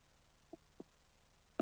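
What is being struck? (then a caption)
Soft plastic fishing bait with an inserted rattle. A rigged soft plastic fishing bait with a rattle inserted through it is shaken, giving two faint, short clicks about a quarter second apart. A louder burst follows at the very end. The rattle's clicking is very quiet, likened to the clicking of crayfish.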